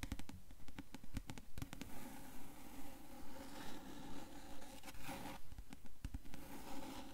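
Long nails tap and scratch across the cover of a dark hardcover book with gilded page edges, held tilted. The taps land in a steady rhythm of about two per second, each a short, dull knock followed by a brief scratchy rasp, with a faint hiss between strokes.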